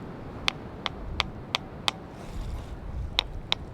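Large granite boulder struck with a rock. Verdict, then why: Ringing. The Ringing Stone on Tiree, a large erratic granite boulder, is struck at its cup-mark hollows with another rock, giving eight short, sharp, high-pitched clinks centred near 3.5 kHz over a low background rumble. The boulder rings like a bell.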